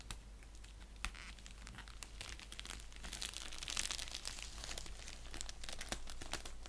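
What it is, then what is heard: Padded bubble mailer envelope. An orange padded bubble mailer envelope resting on a blanket is scratched and rubbed with fingernails along its surface and edge. The result is a steady stream of crisp, bright crinkling and scratching with quick, dry ticks over a low constant hum.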